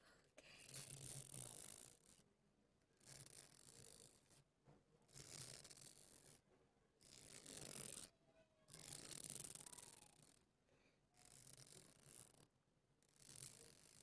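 Fingers rub and scratch along the ridges of a long, hollow, flexible white corrugated plastic hose held in both hands, bending it as they go. Repeated bursts of bright, dry, rattling clicks and rasping friction alternate with short quiet gaps, with a faint low hum beneath the louder passes.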